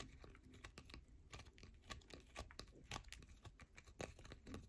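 A worn, grooved solid yellow bar of soap held in a hand is scratched and dug into by long nails. The result is a quick run of dry, crisp scratching and crunching clicks, each with a bright edge over a soft low rumble, dying away almost instantly.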